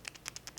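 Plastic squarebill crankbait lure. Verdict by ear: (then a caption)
Quiet. A plastic squarebill crankbait lure is shaken to demonstrate its rattle, giving six faint, short, high-pitched clicks. It has a single weight inside that barely moves, so it makes almost no sound.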